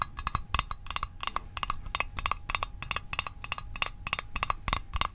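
A small, hollow, rectangular printed metal Altoids Arctic mint tin is held in one hand and tapped with the fingertips and short nails. The result is a quick, uneven run of short, dry clicks with a bright metallic tick near 1.1 kHz and almost no ring. A faint low rumble sits underneath.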